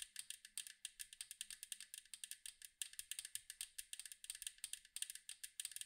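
Long acrylic nails tap rapidly on the striped side of a large, round, hollow metal cookie tin. About forty quick, dry, bright clicks come in uneven bursts, each dying almost instantly with no low boom. The result is a soft, crisp, high-pitched patter.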